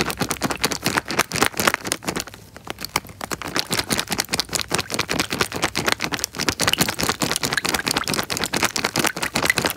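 A small clear plastic bag filled with water is pressed and crinkled by fingers close to the microphone. It makes a dense run of sharp, bright crackles and clicks with little low end, and there is a brief softer patch around two and a half seconds.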